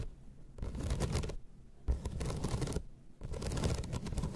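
Long red nails scratch across the slats of a flat bamboo slat placemat in three bursts of dry, rasping scraping, with brief quiet pauses between them. The sound is soft and close, with a rumbly low body and faint crackly detail.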